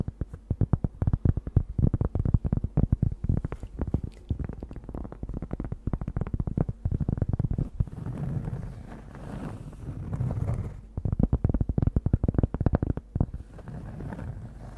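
Long nails tap and scratch across a large, thin, solid round cork disc held over the microphone. Rapid, dense, muffled low thumps dominate, broken by softer, continuous scratching stretches around the middle and near the end.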